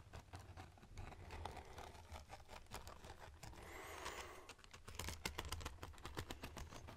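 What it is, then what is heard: Wooden folding hand fan. Fingertips run across and flick the rib edges of a red folding hand fan, likely with wooden ribs and a fabric leaf, held open in front of the microphone. The result is a quiet, rapid series of dry, bright clicking taps, with a softer scraping rustle midway, over a steady low hum.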